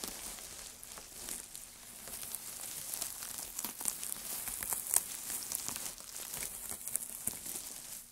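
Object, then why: Pile of thin wood shavings. Gloved hands scrunch and lift handfuls of thin, dry wood shavings from a pile. The result is a steady, bright, papery crinkling and rustling with many small sharp crackles. Occasional louder snaps rise above the quiet texture.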